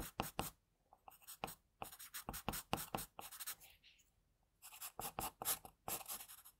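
An HB wooden pencil held in the fingers shades near the nose and mouth of a drawing on a thin, flat sheet of white drawing paper. The graphite scratches the paper in bursts of quick, dry back-and-forth strokes with a bright, hissy edge, about 25 strokes in all. Brief quiet pauses fall between the groups.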